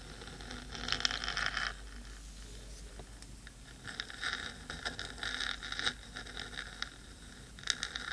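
Long pointed nails scratch the black metal body of a 3Dio microphone, with a second hand near the rim. Bright, hissy scratching comes in bursts around 1 to 1.7 seconds, 4 to 6 seconds and near the end, with quieter rustling and faint crackles in between.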